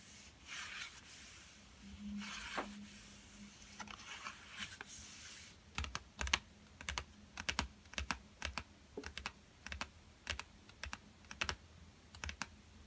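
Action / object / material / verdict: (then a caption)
tap / cardboard pencil box / cardboard / none. A yellow Crayola cardboard colouring pencil box, lying flat and hollow with pencils inside, is tapped with fingertips. Soft, airy rasping sounds are heard first. About halfway through, a steady run of short, dry, bright taps begins, each dying away almost at once.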